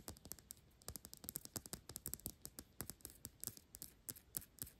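Long acrylic nails tap and scratch quickly on the thick, clear glass base of a Byredo perfume bottle held up in the air. The result is a fast, uneven run of sharp, bright clicks with very short ring, separated by soft scratching.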